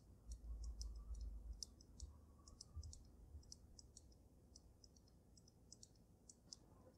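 Fingertips with gray-painted nails tap on the glass dome of a water-filled snow globe holding a dragon figure and glitter, set on a dark dragon-claw base. Quick, bright, very short clicks come at an uneven pace over a low rumble that is loudest in the first seconds and then settles.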